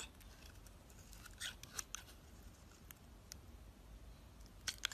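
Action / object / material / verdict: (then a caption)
scrape / bar of soap / soap / none. A utility knife blade shaves brittle flakes off the surface of a solid peach-orange bar of soap held in the hand. Quiet, bright, crisp scraping crackles and short sharp ticks come over a low, steady background rumble, with the loudest snaps near the end.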